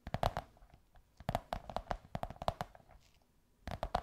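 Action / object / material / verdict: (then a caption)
tap / cardboard tube / cardboard / none. Long white nails scratch and tap a curved beige kraft cardboard tube. Quick, dry, hollow taps with a mid-pitched tone come in three rapid clusters separated by short quiet gaps. Each tap dies away almost instantly.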